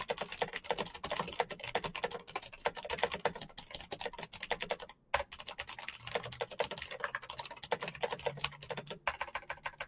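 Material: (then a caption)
Plastic. Fingertips type fast on a full-size black plastic Razer mechanical keyboard with clicky green switches and RGB backlight. A dense, steady stream of crisp, bright clicks that stop almost instantly, with a brief pause near the middle and another shortly before the end.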